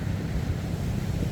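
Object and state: Nothing is struck.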